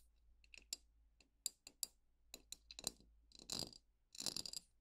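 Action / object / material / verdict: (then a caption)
tap / glass jar with metal lid, filled with paper stars / glass / none. Long painted nails tap and scratch the wall of a glass jar lying on its side with a metal lid, full of folded paper stars. Quiet, sharp, bright clicks come at an uneven pace, then give way to two longer, hissy scratching bursts near the end.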